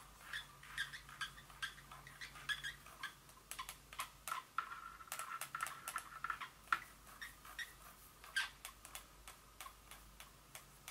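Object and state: Glass perfume bottle.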